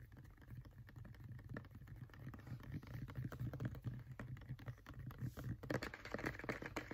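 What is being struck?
Plastic pump bottle partly filled with gel.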